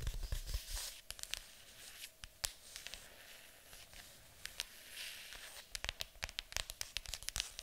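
Long acrylic nails scratch and tap on the lid of a large, hollow, printed cardboard board game box. Dry, bright scratching runs under many sharp, quick clicks that come in irregular clusters, especially near the end.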